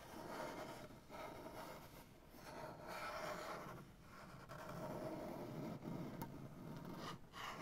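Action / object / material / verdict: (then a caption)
scrape / wooden butcher block tabletop / wood / none. Fingernails slowly scratch and rub with both hands across a solid, light wooden butcher block tabletop. The result is a quiet, continuous dry rasping that swells and fades in uneven strokes.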